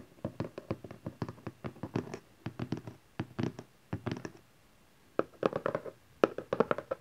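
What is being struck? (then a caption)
Small cardboard box. Fingertips and nails tap the top face of a small hollow cardboard camcorder box resting on satin fabric, and hands also tap its sides. About thirty quick, dry taps come in bursts with a hollow, papery tone centered around 430 Hz and almost no ring. A short pause near the five-second mark separates the bursts.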